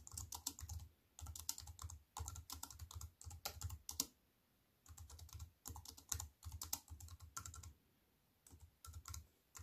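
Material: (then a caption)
Plastic. Fingertips and long white-painted nails tap on a compact wireless keyboard with black plastic keys on a grey metal-look frame, resting flat on a wooden table. Quick runs of bright, crisp clicks with a soft low thump underneath come in bursts, separated by short quiet pauses.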